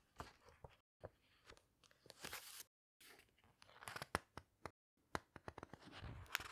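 Hands with long red nails turn the glossy paper pages of a large hardcover book and squeeze them down. Dry, crinkly paper rustles and crunches mix with sharp, bright snaps and taps, broken by brief moments of silence.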